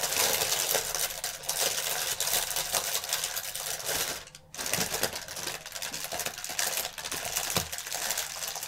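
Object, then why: Plastic air cushion packaging film. A strip of clear plastic air-cushion packaging film is crumpled, with one hand pinching and twisting the air pillows while the other presses the film flat. Dense, bright crinkling and sharp crackles run almost nonstop, with a brief quieter dip just past the middle before the crumpling picks up again.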